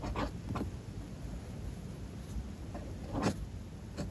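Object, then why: Metal fountain pen nib on a paper notebook page. A metal fountain pen nib scratches across a spiral-bound paper notebook page resting on a desk while writing. Soft, low scratching strokes fill the clip, with a few brief brighter scrapes standing out near the start, around three seconds and at the end.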